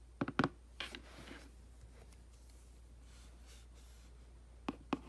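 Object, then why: Printed cardboard box. A hand brushes over the back of a hollow, printed cardboard aquarium box, then a makeup brush scratches and sweeps across the cardboard. Six short, dry scratching strokes stand out: a quick cluster at the start and two more near the end, separated by a soft, airy sweep. A faint steady low hum sits underneath throughout.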